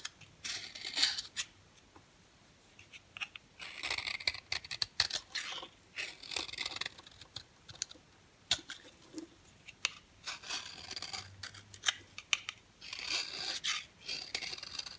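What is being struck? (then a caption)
Bar of soap scraped with a blade. A green box cutter blade scrapes a dry, yellow, oval solid bar of soap held in the hand. Short bursts of crisp, bright scraping and crumbling come in irregular clusters separated by quiet pauses, with almost no low end.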